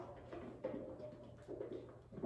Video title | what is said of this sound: Billings Farm at Home: Making Butter at Home | you can hear it sloshing around right now and once it gets to the whipped cream stage it's not going to slosh quite so much